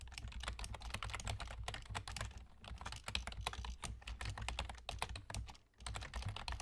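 Fingertips with short nails from both hands rapidly tap the hollow keys of a full-size black plastic computer keyboard with German key labels. The result is a dense stream of short, bright plastic clicks over a steady low hum, with a brief dip in the typing near the end.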